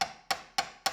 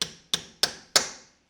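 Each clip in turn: First: Four quick, short taps with a mid-pitched knock: the shaft seal still sounds soft and rubbery, not yet seated. Second: Four sharp, bright taps with short metallic tails: a shaft seal driven fully home against its housing.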